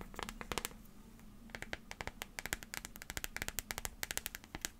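A small transparent plastic liquid glitter phone case is tapped rapidly with long fingernails while being turned in the hands. About thirty sharp, bright clicks come in quick, uneven bursts over a faint low hum. Each tap dies away almost instantly.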